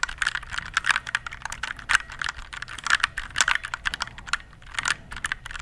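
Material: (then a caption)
Plastic. Fingertips type steadily on a compact RGB plastic mechanical keyboard held near the mic. A rapid, uneven run of short, bright clacks with a mid-high body around 1.5 kHz, each dying away almost instantly, with a few brief pauses between bursts.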